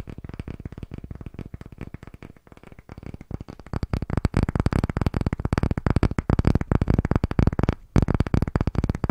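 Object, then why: Small round wooden block. Fingertips and short nails tap rapidly on a palm-sized, solid, light-colored round wooden block with visible grain, held in both hands. The result is a dense, fast patter of short, dull knocks, mostly low and thuddy, each dying away almost instantly. The tapping is softer for the first few seconds, grows louder and busier, and pauses briefly near the end.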